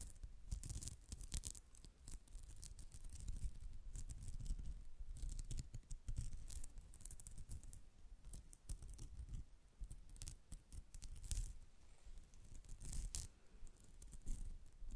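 Long pink acrylic nails scratch a soft white polyester mesh zip pouch with an embroidered cat face, held in front of the mic. Quick, dry, bright scratching strokes come in uneven bursts over a low, soft rumble, with brief quieter gaps between flurries.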